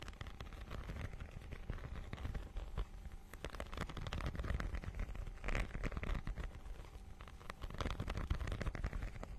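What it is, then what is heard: Textured plastic book cover being scratched. Long nails scratch across the holographic, scale-textured plastic cover of a notebook-sized book. The result is a dense, crackly scratching texture with quick, short-lived ticks, mostly low in weight with only faint bright edges.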